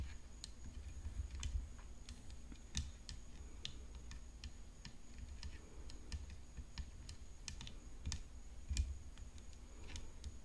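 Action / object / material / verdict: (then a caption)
tap / graphite composite tennis racket frame / graphite composite / none. Long fingernails tap the hollow composite frame near the throat of a graphite composite tennis racket decorated with rhinestones, lying flat. The result is a quiet, irregular run of short, sharp, bright clicks with almost no ring, over a steady low hum and a faint constant high tone.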